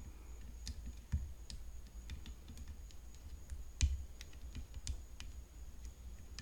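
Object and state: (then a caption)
Tennis racket tapped with fingernails. Long fingernails tap the frame of a tennis racket, making quiet, crisp clicks at an irregular pace, with two slightly louder taps standing out. Each tap is short and dry with almost no ring, over a low background rumble and a faint steady high-pitched tone.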